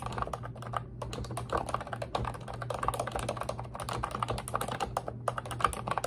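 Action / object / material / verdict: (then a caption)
tap / plastic computer keyboard / plastic / none. Long red acrylic nails and fingertips type and tap continuously on a pink retro-style Ubotie plastic keyboard with round white-and-pink keycaps and a hollow body. Rapid, clacky key strikes with a hollow midrange knock around 1.2 kHz cut off quickly, over a steady low hum.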